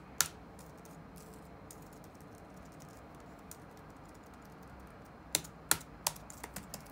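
Fingertips tap the black plastic keycaps of a dark laptop resting on a wooden desk. Seven short, bright clicks are heard: one near the start, then a long quiet stretch with faint background hiss, then a loose cluster of taps toward the end. Each click dies away almost instantly.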